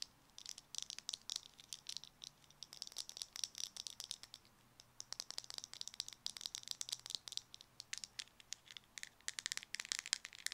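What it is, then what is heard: Plastic cosmetic jar. A small round white cosmetic jar with a black screw lid, likely plastic, is held in the hand while long nails tap it quickly and it is shaken so its contents rattle. The sound is a dense run of sharp, bright clicks and crisp rattling with almost no low end, each tap dying away instantly, broken by a brief quiet pause midway.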